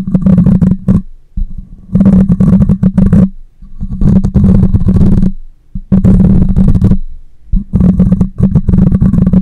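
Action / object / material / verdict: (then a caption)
scrape / metal mesh microphone grille / metal mesh / none. A hand wraps the metal mesh grille of a black condenser microphone while long nails scratch it, including the top. Five bursts of dense, boomy low rumbling and scraping crackle, each with rapid ticking nail strokes and a bright hiss above, are separated by short near-silent pauses.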